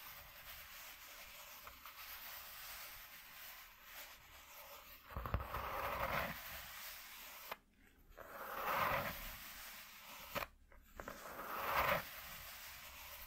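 Fingertips and nails scratch a flat white corrugated cardboard piece lying on a dark cloth. They make dry, rasping scrapes in a few separate bursts, each with a midrange grainy hiss and a brighter edge, over a quiet low background.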